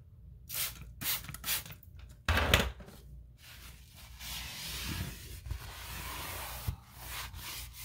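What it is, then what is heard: Painted wooden baseboard. A paper towel held in the fingers rubs and wipes along a long, solid, white-painted wood or MDF baseboard trim running along a wall. Short, bright swishing strokes come first, then a louder, rougher scrub. The sound settles into a steady, softer wiping hiss with a faint low hum underneath and a small tap near the end.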